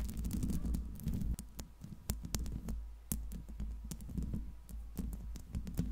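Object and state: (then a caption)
Metal microphone grille tapped and scratched. Long pink acrylic nails on both hands tap and scratch the hollow metal mesh grille of a silver microphone. Rapid, sharp clicking taps fall over a soft scratchy rustle, with a steady low hum underneath throughout.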